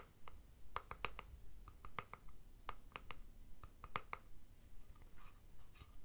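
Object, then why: Plastic deodorant stick container. A plastic deodorant stick container is held in one hand while fingernails tap and scratch its plastic body. Quiet, sharp clicks repeat at an uneven pace with a ringing tone around 1.2 kHz, and softer scratching sounds run between and after them.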